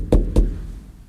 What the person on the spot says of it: when I knock on it, it's so much more muted than the other areas of the truck